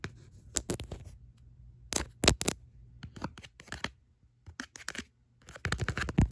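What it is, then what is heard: Faux leather wallet phone case. Long nails tap and scratch the back of a tan faux leather wallet phone case with card slots, held upright. Quick, uneven bursts of dry scratching and sharp taps come in clusters with short pauses, each sound brief and bright over a faint low hum.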